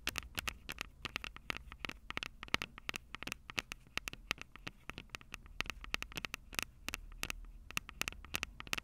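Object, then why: Plastic-bodied handheld recorder with metal-grilled microphones. Long purple acrylic nails tap rapidly on the two metal-grilled microphone capsules of a Tascam DR-05 handheld recorder with a plastic body. The result is a dense run of sharp, bright clicks with almost no ring, laid over a low, steady rumble.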